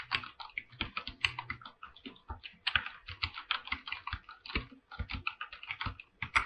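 Fingertips type continuously on a full-size mechanical keyboard with an aluminum body and white and light-blue PBT plastic keycaps. A steady, quick run of short, crisp keystrokes with bright clacky tops and brief low thocks sounds, each dying away almost at once.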